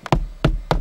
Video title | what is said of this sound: Tutorial izolat fonic stalpii de plastic dintre usi la Logan | nu se aude decât o chestie înfundată